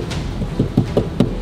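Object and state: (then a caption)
Hollow piano cabinet. Knuckles knock on the wooden cabinet of a lobby piano, giving several dull, low thumps with a hollow resonance and almost no high-frequency content. Each knock dies away quickly, and the cabinet sounds hollow. Nothing is opened to confirm what is inside.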